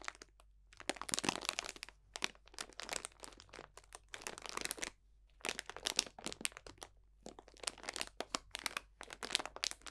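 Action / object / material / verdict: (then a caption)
scrape / cellophane bag of dried orange slices, leaves and spices / plastic, dried plant / none. A clear, medium cellophane bag about a hand-length long, full of dried orange slices, bay leaves and spices, is squeezed and crunched with the fingertips of both hands. Dense bursts of bright, dry crinkling and crackling come in clusters with brief quiet gaps, each crunch dying away almost instantly.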